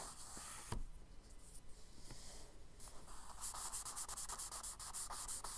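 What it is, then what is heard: Kraft paper sketchbook page, rubbed and hatched with charcoal. A palm and fingers rub across a tan kraft paper sketchbook page with a soft, breathy hiss. A charcoal stick then scratches a quick run of short hatching strokes, each one a bright, gritty scrape.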